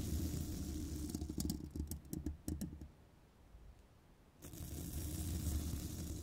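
A small bristle pipe-cleaning brush, held in long black nails, is scratched across the hollow woven steel mesh grille of a large condenser microphone. For the first three seconds there are rough, muffled scrapes and bright, clicky ticks over a heavy low rumble. After a near-silent pause, a steady scratching rumble resumes.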